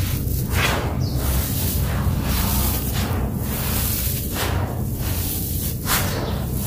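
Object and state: Nothing is struck.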